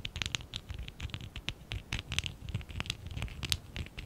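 Fingertips and short nails rub and scratch the sides of a small, hollow stack of lilac and dark blue ABS plastic Lego bricks from the Lego Classic 11017 set, held in both hands. Quick, dry scratches and taps come in a steady patter, with bright, crisp clicks over a soft low rumble. Each stroke stops almost instantly, with no ring.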